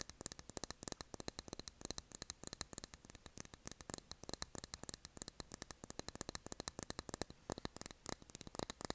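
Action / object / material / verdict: tap / wax-filled glass candle jar with cork lid / glass / none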